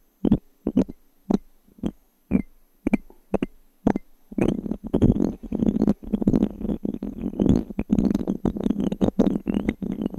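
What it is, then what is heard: Wooden cube die. A single small solid light-wood cube die is held in the fingertips of one hand close to a microphone, and long fingernails tap and scratch its surfaces. About the first four seconds bring separate dry, woody taps. After that the tapping gives way to denser, continuous scratching and rapid clicking with a low, hollow body.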